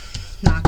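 Knuckles knock three times on a wooden surface stated to be real wood. A faint first tap is followed by two loud, deep, thumpy knocks that are mostly low-end energy and die away quickly.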